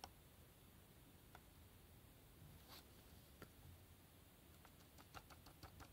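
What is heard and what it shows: Yellow rubber-gloved fingertips tap and scratch the barcode side of a small printed black cardboard retail box with a Hellraiser puzzle cube inside. Soft, quick, dry taps come at scattered moments and bunch together toward the end, over faint scratching and a low, steady background rumble. Each tap is short and bright with almost no ring.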